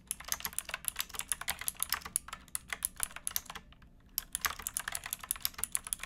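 Fingertips with painted nails type on a pink backlit plastic mechanical keyboard with round keycaps and a hollow case, resting on a wooden box. Around 38 quick, bright, clacky keystrokes with very short decays patter in a steady rhythm, broken by a brief pause just before the 4-second mark before typing resumes.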